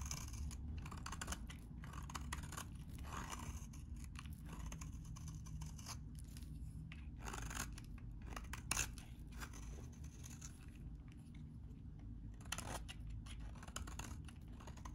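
A utility knife blade cuts and shaves crumbly pieces off a solid, hand-sized, dry green vintage soap bar held in one hand. A steady stream of crisp, dry scraping and crunching runs throughout, with bright crackles over a low rumble and a few sharper snaps near the middle and toward the end.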